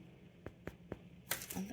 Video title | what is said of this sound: Delicious sourdough hot cross buns, you'll never want to buy shop bought again! | My hot cross buns are now cooked. They're sounding hollow.